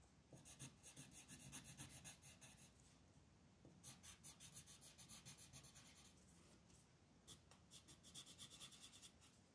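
A light-orange wooden colored pencil scratches short, quick strokes across a flat printed paper coloring sheet on a desk while the other hand holds the sheet in place. Three bursts of rapid, bright, dry scratching are separated by quieter pauses with soft rubbing and a low background hum.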